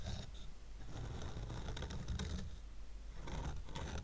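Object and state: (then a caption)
Stack of wooden coasters. Fingernails rub and scratch across the surface and edge of a stack of square painted wooden coasters tied with twine. The result is a quiet, continuous dry scratching with bursts of bright, raspy texture over a steady low rumble.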